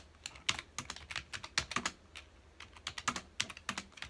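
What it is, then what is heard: Plastic computer keyboard. Fingertips of both hands type on a full-size black plastic computer keyboard with hollow key housings, resting on a dark desk. A quick, uneven run of about two dozen bright, dry keystroke clicks sounds, each dying away almost instantly with little low-end weight. There are brief pauses between bursts of typing.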